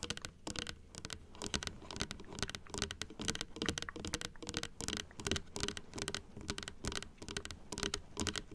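Long acrylic nails tap rapidly on the white plastic teeth of a large plastic dental model resting on a table. Quick, dry, bright clicks patter in dense, uneven bursts with almost no ring, over a faint low hum.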